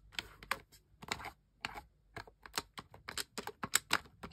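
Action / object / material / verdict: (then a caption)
tap / plastic game controller / plastic / none. Toes and toenails press and click the buttons and thumbsticks of a single camouflage plastic gamepad with a hollow plastic shell, and midway the controller is briefly tilted. Quick, dry, bright plastic clicks come in an uneven run, with short gaps early and denser clicking toward the end.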